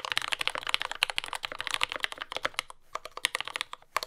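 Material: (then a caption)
Plastic. A compact J-01 mechanical keyboard with lubed Gateron Ink Yellow switches, dark brown plastic keycaps and a carbon fiber plate, sitting on a desk mat, is typed on continuously with the fingertips of both hands. It makes a steady stream of short, bright, clacky keystrokes with almost no low end and no ring, with a brief pause near the end before the typing resumes.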